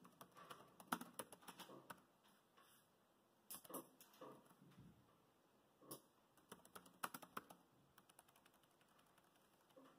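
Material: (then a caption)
Plastic. Fingertips type and tap on the plastic chiclet keys of a dark grey laptop keyboard. Quick, clicky keystrokes come in bursts, with brief pauses between runs of typing.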